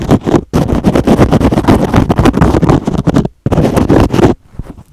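Fingernails rapidly scratch a hand-sized teal foam kitchen sponge with a green scrub pad, making dense, rough, scraping rustles that are mostly low and warm. The scratching comes in quick, continuous bursts, with brief silent gaps near the start and just past the three-second mark. It stops shortly before the end, leaving only faint, quiet scuffs.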